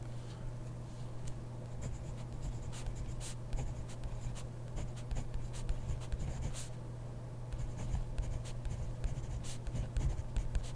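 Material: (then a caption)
Paper. A hand writes with a ballpoint pen in a grid paper notebook, the pen tip scratching across the page in a steady run of soft, dry strokes with occasional bright ticks. A constant low hum sits underneath throughout.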